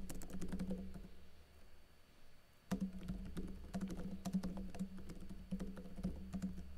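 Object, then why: Plastic laptop keyboard keys. Fingers with blue-painted nails type on a plastic backlit laptop keyboard with plastic keycaps, producing quick, irregular bursts of soft, low, muted key taps. The typing thins out into a quieter lull in the middle, then resumes with firmer, clustered clicks until the end.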